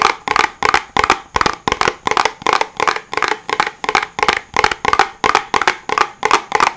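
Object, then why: Small cardboard box. A small, hollow white cardboard box is held above the microphone and tapped with the fingertips in quick, slightly uneven bursts. There are about 22 dry, hollow taps with a woody mid-range knock and a bright papery edge, each dying away almost instantly.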